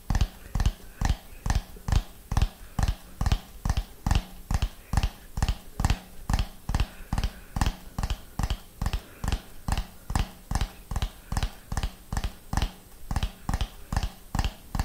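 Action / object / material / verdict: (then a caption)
tap / ribbed plastic dome / plastic / none. A hollow orange plastic dome with concentric raised ridges, held in both hands, is tapped with the fingernails in a steady, slow rhythm of about two taps per second. Each tap is a short, dull, hollow knock with a low tone and almost no ring, set against a faint background hiss.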